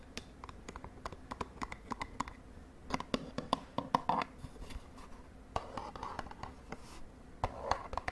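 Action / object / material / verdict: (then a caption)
tap / small cardboard cosmetic box / cardboard / none. Long nails tap and scratch the edges and face of a small, hollow purple and white cardboard cosmetic box held over a bedsheet. The result is a quick, uneven series of short, dry clicks and taps with papery scratching between them, with a midrange body around 1 kHz. Each tap dies away almost instantly, with no ring.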